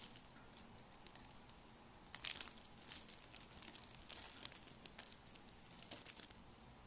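Thin, brittle, rolled curls of green, pink and purple dry soap are crushed and crumbled between fingertips with long lavender nails over a pile of soap flakes. Quiet, bright, dry crinkling crunches come in irregular bursts, with the loudest crackle just after two seconds and short pauses between.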